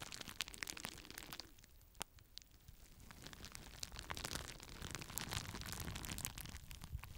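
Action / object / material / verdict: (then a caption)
scrape / plastic bubble wrap sheet / plastic / none. Fingertips squeeze and pop the bubbles of a clear plastic bubble wrap sheet and crinkle it. The result is a quiet, irregular stream of sharp, bright pops and snaps over a continuous crackling rustle, with no ring after each pop.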